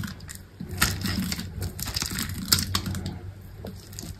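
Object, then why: Bar of soap cut with a knife. A small knife slices cubes off a solid, dry green soap bar, and the cubes crumble away. Crisp, dry cutting and crumbling clicks with bright crackle run over a low rumble, with sharper snaps near 0.8 and 2.5 seconds.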